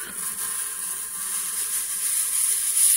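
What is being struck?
Nothing is struck.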